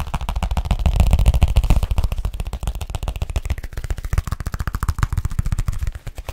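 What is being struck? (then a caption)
Leather folio case. Fingertips and nails tap rapidly on the flat surface of a large, hollow, flexible black leather folio-style case held in the hand. The fast, uneven stream of short, dull, low thuds with faint clicks dies away almost instantly after each hit. It swells louder in the first couple of seconds, then continues at a slightly softer level.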